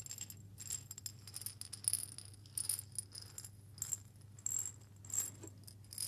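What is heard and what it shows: A small hollow glass jar with a metal lid, partly filled with coffee beans, is shaken by hand. The beans make bright, dry rattling bursts that rise and fall in irregular clusters, over a steady low hum.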